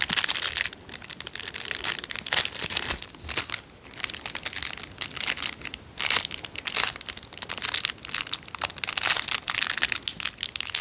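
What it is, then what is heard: Clear cellophane wrapper. A narrow clear cellophane wrapper is rolled and crushed between fingertips, making dense, bright crackling crinkles with almost no low end. The crinkling comes in irregular bursts separated by brief quieter gaps, each crackle cutting off almost instantly.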